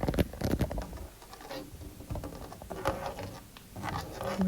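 Fingernails tap and scratch in a zigzag across the ridges of a white-painted interior bedroom door. A dense patter of short, dry, low-pitched taps is heard, with soft scraping between them.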